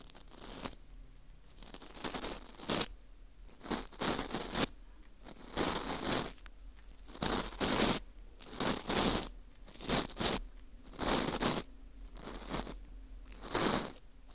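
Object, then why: Dried wheat gluten ring (fu) scraped with a plastic scraper. A gloved hand scrapes the hollowed hole of a porous dried wheat gluten ring (fu) with a teal plastic scraper tool. The result is a series of bright, crumbly crunching and scratching bursts, heavy in high frequencies, separated by short quiet pauses.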